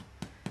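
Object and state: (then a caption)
Rye bread loaf, hollow (baked through). A golden-brown no-knead rye loaf with caraway seeds, baked 20 to 30 minutes at 200 degrees, is tapped twice. Each tap gives a short, low, hollow thump. The hollow sound shows the loaf is baked through, and it is soft, moist and crusty inside.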